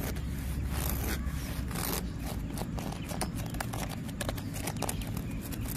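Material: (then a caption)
Bark. Fingernails and fingertips scratch and pat rough bark on a solid tree trunk, giving a steady stream of dry, crackly scraping over a dense low rumble. Short, bright scratchy bursts and soft taps recur throughout at an even level.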